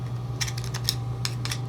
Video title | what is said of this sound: Repairing another push mower for resale. | it sounds full of crap